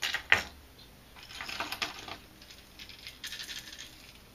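A plastic crankbait fishing lure is shaken in a cupped hand to check its internal rattle balls. A sharp click is followed by bursts of bright, quick clicking and clattering as the balls roll around inside. The lure sounds good, with its rattles all moving freely.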